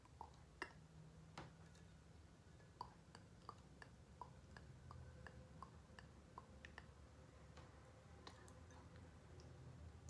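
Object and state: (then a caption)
Glass candle jar tapped with fingernails. Long painted nails tap and scratch the sides of a medium pink glass candle jar with a cork lid, held in both hands. Quiet, short glassy ticks and clicks with a brief ring come at an uneven pace over a soft low hum.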